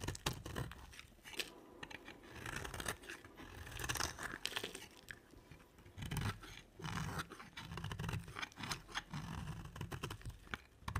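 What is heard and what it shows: A red-handled blade, held in a hand with long white nails, scrapes and cuts brittle shavings from a round, solid, dry white soap bar set in a dark rim. The result is a steady run of dry, crunchy scrapes and crumbles with a bright, crisp edge and a low, soft body.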